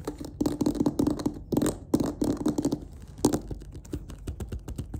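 Long-ish nails and fingertips tap and scratch along the stitched edge of a closed, hollow black leatherette clarinet case. A quick, uneven run of short, dry clicks and soft thumps carries a hollow low-mid tone, with faint scratchy rustles between the taps.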